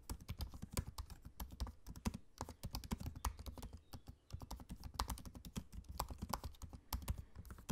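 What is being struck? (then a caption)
Laptop keyboard with plastic keys. Fingertips of both hands type steadily on the low-profile black plastic keys of a space-grey aluminium laptop. The result is a rapid stream of short, dry key clicks with a soft low thud beneath each press and a brief lull near the middle.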